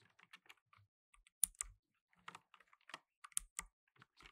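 Fingertips in blue nitrile gloves type rapidly on a black plastic tenkeyless mechanical keyboard with plastic keycaps. The result is a quick, irregular run of short, bright, dry clicks with almost no ring. A few of the key presses stand out louder than the rest.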